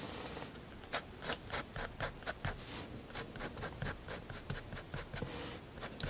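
A fineliner pen draws long vertical strokes on a sheet of white sketchbook paper lying flat. Its nib rubs across the paper surface in a quick, steady series of short, dry scratches with bright, airy hiss and a little low rustle underneath.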